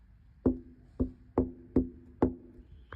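An inspector knocks five times on a pane of window glass that is not impact rated, one of two windows that look the same but differ. Each knock gives a short, hollow, woody-sounding tap with a low tone around 260 Hz that dies away quickly. Screws around the perimeter hold protective fabric because this glass would break in high wind, and it is already broken.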